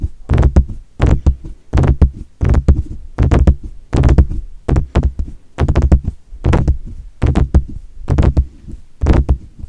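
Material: Metal.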